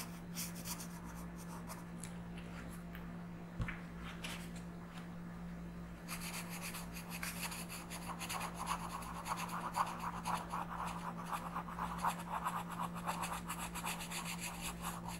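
A pink colored pencil is rubbed in small circular strokes across a flat paper coloring book page, making a soft, papery scratching and rasping sound over a steady low hum. The strokes are light and sparse at first, with one sharp click, then become denser and brighter, a continuous rapid rubbing for the rest of the clip.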